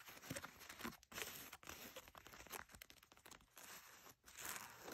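Long nails scratch the inner waistband near the label and the belt loops of blue denim jeans lying flat. The result is a run of bright, crinkly rasping strokes in uneven bursts, separated by brief quiet gaps.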